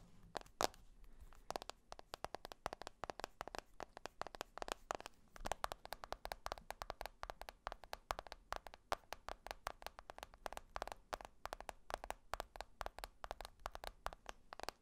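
Fingertips and nails tap rapidly across the glass screen of a black smartphone held in one hand, moving across the screen and back. The result is a quiet, steady stream of short, dry, clicky taps with a mid-range tone and very little ring, in irregular bursts over faint background hiss.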